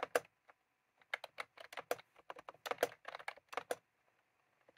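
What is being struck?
Plastic round-key keyboard.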